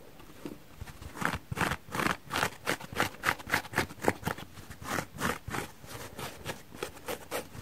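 Long nails and fingertips scratch and rub across the pitted face and around the edge of a palm-sized, dry, porous cellulose sponge shaped like an orange slice, with an orange rim and a yellow face, soft and not hollow, held in both hands beside other untouched fruit sponges on a wooden table. About two dozen dry, rasping, bright scratching strokes come in a quick, uneven rhythm of roughly three to four per second. Each one is short and crackly, with almost no ring after it.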